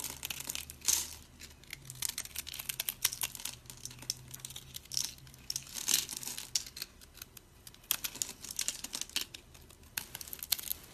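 A utility blade scrapes crunchy cubes off a scored, solid, oval, dry white soap bar with colored speckles. The result is a dense run of bright, dry crackling and crinkling crunches with very short decay, with louder bursts near 1, 6 and 8 seconds. A faint steady low hum sits underneath.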